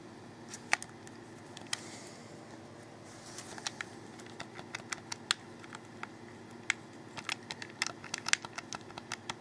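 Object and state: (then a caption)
Plastic game controller buttons clicking. Fingers click the buttons on a hollow black plastic Xbox 360 controller held in the hands. Short, sharp, bright plastic clicks come at an irregular pace, some singly and some in quick clusters, with almost no ring. A faint, steady low background murmur runs underneath throughout.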